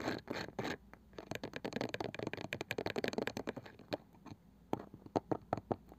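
A small, round, likely hollow wooden box with a light wooden lid and a woven cane side is tapped and scratched on the lid with the long nails of both hands. Soft scratching strokes give way to a dense run of quick, dry, clicky taps, then sparser taps with short pauses. The sound is close and crisp, with little ring.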